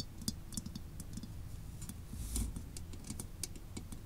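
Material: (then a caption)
Steel. Long nails tap and scratch the dome and sides of a hollow, olive-green steel WWI German helmet resting on a desk. The result is a quiet run of short, dry clicks with bright tips and almost no ring over a low, steady rumble, with a brief swelling scrape near the middle.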